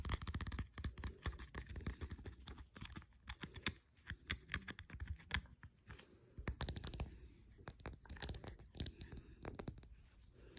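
Fingertips and short nails tap and scratch along the body and cap of a small green plastic Degree deodorant stick, a hollow casing with a solid stick inside, lying on a dark fleece blanket. Quick, dry clicks come in dense bursts mixed with raspy scratching, with short pauses between clusters.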